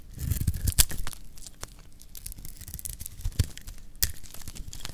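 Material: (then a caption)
Soap. A metal blade scrapes and shaves a solid pink rectangular bar of dry lacquered soap. Dry, gritty rasping and crumbly crackles run throughout, broken by sharp bright snaps near the start, middle and end. The sound is quiet overall, with short dead cut-offs and a low rumble underneath.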